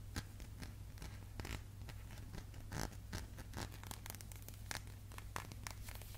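A small glass candle jar, closed with a metal lid and held upright, is tapped and scratched by fingertips and nails on the lid and rim. Short, quiet clicks and scrapes repeat irregularly over a steady low hum.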